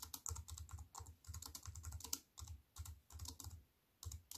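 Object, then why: Plastic computer keyboard. A compact wireless keyboard with black plastic keys on a grey metal-look frame, lying flat on a wooden table, is typed on with fingertips and long white-painted nails. The result is rapid bursts of light plastic taps, each with a soft low thump and a bright, crisp click that dies away almost at once. Short pauses break up the typing near the middle and again just before the end.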